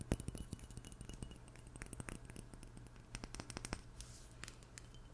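A small glass perfume bottle with a black cap is held in both hands and tapped with long nails. The result is a quick run of light, dry clinks and scratchy ticks over a steady low hum.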